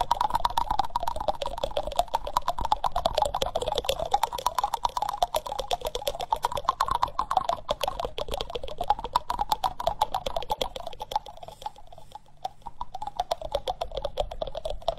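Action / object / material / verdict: tap / wooden spoon bowl / wood / none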